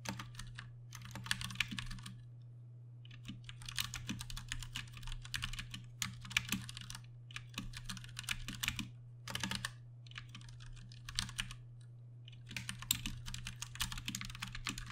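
Rapid fingertip key presses from both hands on a Ducky One 2 Mini, a compact 60% mechanical keyboard with plastic keycaps, Cherry MX Brown switches and RGB backlight, resting on a desk. Bursts of fast, bright, short clacks alternate with brief pauses, over a steady low hum.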